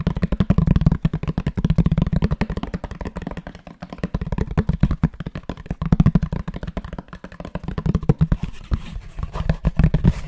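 A grey, linen-textured rectangular box made of fabric-covered cardboard, likely hollow, is held close to the mic and tapped and scratched with fingertips and nails. Rapid, dull, low thuds patter in quick bursts with almost no ring. Toward the end, a brighter, scratchy texture comes in under the taps.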